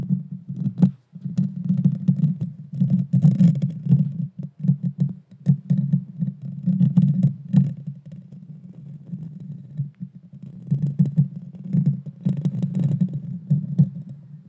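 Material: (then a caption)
Metal mesh. Long painted fingernails scratch directly on the bare metal mesh grille of a small Blue Yeti Nano USB microphone with a hollow head. The result is a dense, boomy low rumble centred near 145 Hz, broken by rapid scratchy strokes and sharp clicks that flick up into bright highs. A brief pause around one second and a quieter, softer stretch from about eight to ten seconds interrupt the scratching before it builds again.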